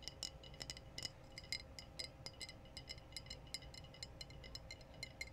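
Glass bottles are tapped in a quick, steady series of light, clinking taps. Each tap is short and bright, with a high glassy ring that dies away almost at once over a faint low hum.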